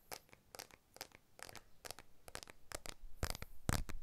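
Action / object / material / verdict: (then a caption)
tap / smartphone with glass back and aluminium frame / glass / none. Fingertips and short nails tap and scratch the glass back of a blue iPhone 12, a small solid handheld phone with an aluminium frame, held in both hands near a TASCAM recorder. Quick, dry, unevenly spaced clicks and brief scratchy bursts repeat throughout, with bright edges and almost no ring. The taps grow slightly louder toward the end.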